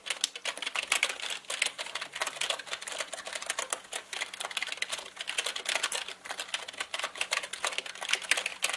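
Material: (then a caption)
Plastic. Both hands type rapidly with their fingertips on a black mechanical computer keyboard with plastic keycaps. It produces a dense, continuous stream of sharp, bright clicks and clacks with very short decay and almost no low end, and the rhythm varies slightly in intensity throughout.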